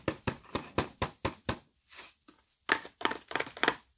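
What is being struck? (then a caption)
Cardboard box of wafers. A closed, printed cardboard box of Bahlsen Waffeletten, about 25 cm long, hollow and apparently full of wafers, is held in both hands and turned over while fingertips and medium-length painted nails tap and knock on its flat faces. Sharp, dry, hollow knocks come in a quick even series, then a soft brushing rustle as the box turns, then denser, brighter tapping with clicky nail edges. Each hit dies almost at once.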